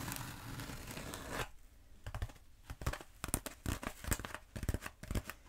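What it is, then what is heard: Foam roller. Long nails on both hands scratch and tap a long black bead foam roller held upright. A steady, dry scratching rasp fills the first second and a half, then stops abruptly. Short, crisp taps follow with brief scraping between them, each with a bright click and a dull low thump and almost no ring.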